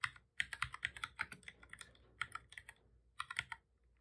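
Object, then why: Plastic computer keyboard. Both hands type steadily with their fingertips on a full-size black plastic computer keyboard with a hollow body, resting on a desk. About 19 quick, bright, clicky key taps come in bursts, with short pauses between them. Each tap dies away almost instantly.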